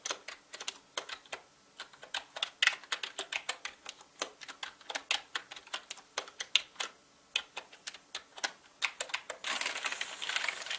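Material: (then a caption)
Plastic. Fingertips type fast on a full-size black mechanical gaming keyboard with plastic keycaps and a hollow body, producing about 49 sharp, bright, clacky keystrokes with almost no ring and no low end. Near the end, the clicks blur into a dense, continuous high rattle.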